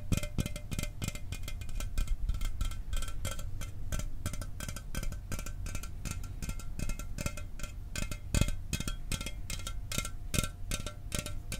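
An aluminum soda can is tapped rapidly and continuously, producing a dense stream of quick, metallic clicks and taps. Each tap dies away almost at once, over a steady low-pitched body with bright ringing overtones.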